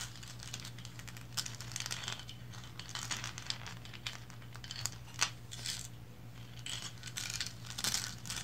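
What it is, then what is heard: Resin lighthouse figurine. Long blue nails tap and scratch the striped body of a small, upright painted resin lighthouse figurine. The result is a quiet, steady stream of bright, dry scratching and crinkly clicks with sharp little taps scattered throughout, over a low constant hum.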